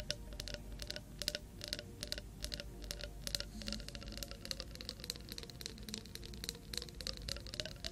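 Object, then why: Small glass jar with metal screw lid, partly filled with water. Long nails tap and scratch a small clear glass jar with a metal screw lid, partly filled with water, held beside a binaural microphone. Rapid, bright clicking taps with very short ring are heard over a faint scratchy rustle and a steady low hum, with a light glassy tone around 590 Hz.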